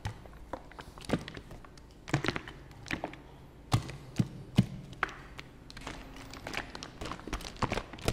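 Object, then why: Plastic fabric softener bottle. A white and blue plastic fabric softener bottle is held in both hands while fingertips tap on its hollow plastic body. The result is a quiet, irregular run of soft taps and dull, hollow thunks. The sound is mostly low, and each tap dies away almost at once.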